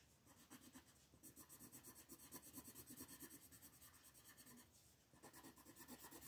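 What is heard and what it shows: A hand with long nails shades across a thin printed paper coloring book page lying flat, using an orange wooden colored pencil. Quick, scratchy back-and-forth strokes make a steady, dry rasping with a bright hiss. There is a brief pause near the end before the shading resumes.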